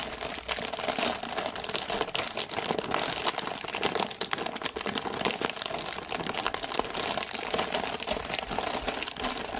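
Long painted nails scratch and tap the thin plastic film wrapped over a full cardboard box of gingerbread biscuits, including its clear window. The result is a steady, dense stream of bright, crisp crinkles and quick dry taps that stop dead with almost no ring and carry very little low end.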